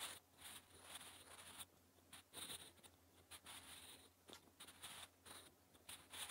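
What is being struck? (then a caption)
Graphite pencil on lined paper. A sharpened wooden graphite pencil writes Korean letters on a thin, flat lined notebook page. Bright, dry scratching strokes come in uneven bursts, separated by short quiet pauses, with a faint low hum underneath.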